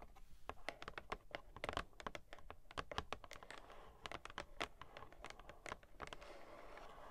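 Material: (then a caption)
Cardboard. Long nails rapidly tap the front and sides of a hollow, medium-size pink printed cardboard toy packaging box with a plastic window, held in both hands. The result is a quick, irregular patter of short, dry, bright clicks with almost no ring. The tapping ends in a soft, steady rustle.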